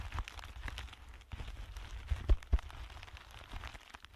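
Clear plastic bubble packaging film is bunched between two hands while fingertips crinkle and squeeze it. The result is a steady, light, hollow crackling over a low, muffled rumble, with a couple of sharper, louder pops near the middle.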